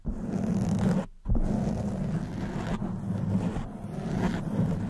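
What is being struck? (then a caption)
Foam microphone windscreen. Long white nails scratch a black foam windscreen on a silver microphone, producing a dense, low rumbling scrape. The scratching runs almost continuously, with one brief pause near the one-second mark before it resumes.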